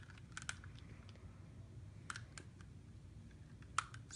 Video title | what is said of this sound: The Rubik's cube problem | feels like plastic sounds like plastic